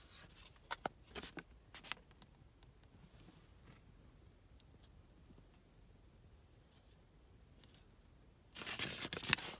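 Fingertips with long painted nails handle and crinkle a single thin, flexible US ten-dollar paper banknote, holding it up by the window and then laying it flat on a lap, while the nails scratch its surface. Sharp, bright crinkles come in quick bursts at the start, then fade into a long stretch of faint, soft scratching. A dense, loud rustle of crinkling paper closes the clip.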